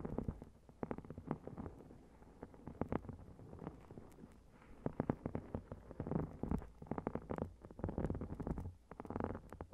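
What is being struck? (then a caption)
Foil-covered notebook. A notebook with a shiny gold metallic foil cover, lying flat on a recorder, is tapped with long red-painted nails. Rapid, dry, close-up taps come in quick clusters, with soft scratchy rustling between them. The sound is muffled and low, with little high-end brightness.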